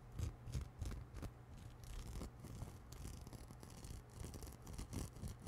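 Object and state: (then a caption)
Knit nylon shower glove being scratched. Long manicured nails scratch and rub across a soft, hollow, grey-white knit nylon exfoliating shower glove worn on one hand and held up in front of the microphone. The result is a rapid, irregular series of scratchy, brushing strokes with a deep muffled rumble underneath and bright fabric hiss on the stronger passes.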